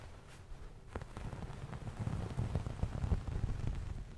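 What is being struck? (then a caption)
Cotton terry towel. Nails and fingertips scratch and rub the surface of a soft, hand-sized beige cotton terry cloth towel held up beside the microphone. The result is a dense, low, muffled rustling and scratching with irregular soft pulses that grow slightly louder toward the middle of the clip.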